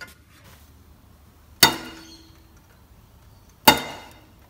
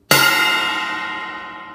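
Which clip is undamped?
The second.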